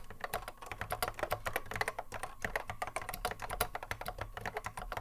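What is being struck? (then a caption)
Plastic mechanical keyboard. A cream Apple M0110A keyboard with a hollow plastic case and Alps SKCC mechanical switches, resting on a wooden desk, is touch-typed continuously with the fingertips of both hands. A rapid, uneven stream of short, sharp clacks is heard, each with a hollow mid-pitched tone, a bright click on top and a soft low thud beneath. Each keystroke dies away almost instantly.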